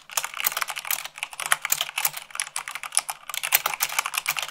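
Fingertips and long nails, one finger bandaged, type fast at about 98 words per minute on white plastic keycaps set on a black mechanical keyboard. The result is a dense, continuous stream of crisp, bright plastic clicks and clacks with almost no low end, each keystroke dying away almost instantly.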